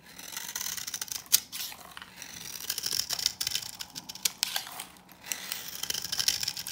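A metal knife blade with a green handle scrapes and shaves thin curls off the surface of an old, dry green bar of soap held in the hand. The sound is a run of dry, crisp, bright scratching strokes with very little low end and almost no ring, and a few sharper clicks stand out.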